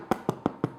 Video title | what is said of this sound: Artisan White Bread Recipe Demonstration - Joyofbaking.com | And if I turn it upside down and tap it, it's hollow.